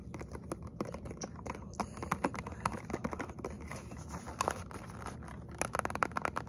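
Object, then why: Small cardboard box with plastic window. Fingernails and fingertips quickly tap a small printed cardboard box with a plastic window, holding a hot chocolate bomb, held close to the microphone. Rapid dry, clicky taps patter over a low rumble, clustering into brighter, sharper bursts near the end.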